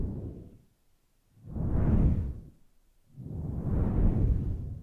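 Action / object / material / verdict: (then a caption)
scrape / synthetic fur microphone windscreen / synthetic fur / none. Long glossy nails and fingertips rub and scratch a large, fluffy grey synthetic fur microphone windscreen that sits soft and hollow over the mic. Three slow, deep rubbing swells are heard, each a muffled low rumble that rises and fades, with quiet gaps between them.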